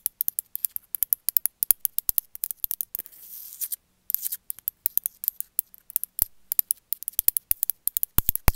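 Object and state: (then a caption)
Ceramic cat figurine. A small grey speckled ceramic cat figurine, likely hollow, is held in one hand and tapped and scratched with long metallic-tipped nails. Rapid, irregular bright clicks stop around the three-second mark for a soft, hissy scratching passage, then a brief silence before the quick tapping resumes.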